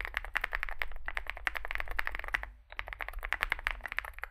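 Fingertips type continuously on a small Zoom65 65% mechanical keyboard with a dark case and white and grey plastic keycaps. The result is a rapid stream of short, sharp clacks with a bright, crisp ring near 2 kHz over a steady low rumble. There is a brief pause about halfway through before the typing resumes.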